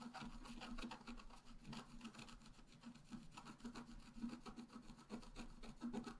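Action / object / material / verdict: scrape / black-coated scratch-art paper card scraped with a wooden stylus / coated paper / none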